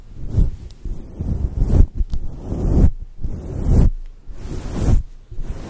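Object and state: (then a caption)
Faux fur microphone windscreen being scratched. Long patterned acrylic nails scratch and rub over the top and sides of a fluffy faux fur microphone windscreen. This makes deep, muffled swishing and rustling strokes that swell and fade in uneven waves, with faint bright hiss on top.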